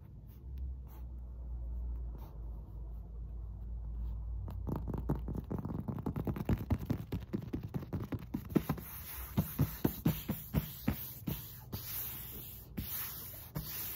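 A black SPRI foam exercise mat, soft, solid and thin, lies flat on a carpeted floor while long acrylic nails and fingertips scratch and tap its surface. A low, muffled rumble of scratching builds into a fast run of dull, soft taps mixed with brushy scratches, with a faint bright hiss toward the end.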